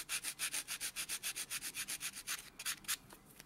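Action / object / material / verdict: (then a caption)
scrape / fingernail rubbed with a foam nail buffer / nail and foam / none. A white solid foam buffer block is rubbed back and forth over a natural thumb nail in quick, steady strokes. About twenty short, airy scratching swishes follow one another, bright and hissy with almost no low end. The strokes thin out and turn softer and less even near the end.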